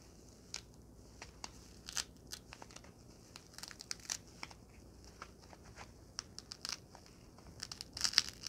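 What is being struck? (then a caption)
Foam packing block. A small white foam packing block, held in both hands, is squeezed and crushed with fingertips and long nails. It gives quiet, bright crinkling and crackling squeaks in short separate bursts over faint background hiss. The bursts grow louder and denser near the end.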